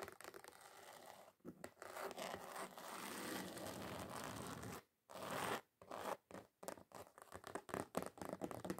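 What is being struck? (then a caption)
Glitter-covered card sheet. Long pointed acrylic nails scratch and tap across a flat red glitter-covered card sheet, thin and solid, lying on a counter. Steady, gritty scratching runs for about five seconds, then breaks into short bursts of scraping and quick dry taps separated by brief silences.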